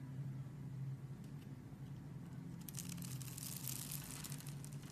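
A knife blade scores and carves small cubes from the surface of a solid, hand-sized, purple opaque soap bar held in one hand. Faint, crisp scratching and crunching cuts sit over a steady low hum, growing denser and brighter in the second half.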